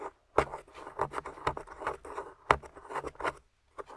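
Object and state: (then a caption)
Plaster excavation block being scraped. A small metal spoon tool, held in fingers with long nails, scrapes and digs into a solid, grey, crumbly plaster/clay dig-kit block with a plastic dinosaur skeleton embedded in it. The clip is a quick series of dry, gritty scrapes and crumbly scratches centred in the mid-range, with short pauses between strokes.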